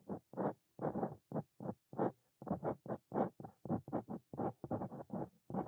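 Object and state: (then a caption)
Dip pen scratching on paper. A Brause Cito Fein metal dip pen nib is scratched across a flat white paper notebook page in continuous writing strokes, with the hand and pen staying on the same page throughout. The result is 21 short, dry, scratchy strokes separated by brief silences, quiet and mostly in the low-to-mid range.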